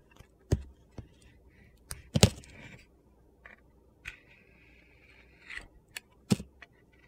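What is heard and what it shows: A metal utility knife blade is pushed through a handheld rectangular bar of solid soap coated in white, yellow and orange glitter, shaving off thin slices. Sharp crunchy cuts and gritty scrapes sound in short bursts, with several longer scraping strokes between them.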